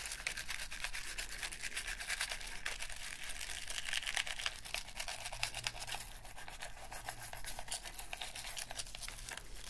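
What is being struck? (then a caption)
Plastic game controller. A black, hollow plastic PlayStation 3 controller held in a gloved hand is scrubbed with a toothbrush during a deep clean. Rapid, bristly scratching strokes run continuously, bright and hissy around 2 kHz and above, over a faint low hum.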